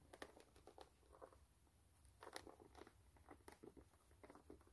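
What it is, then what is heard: Rubber shoe sole, scratched and tapped. Long manicured nails scratch and tap the brown textured rubber sole of a single white low-top canvas sneaker held upside down, the shoe hollow and empty. Quiet, irregular clusters of crisp ticks and scratchy rasps come in short bursts over a steady low hum.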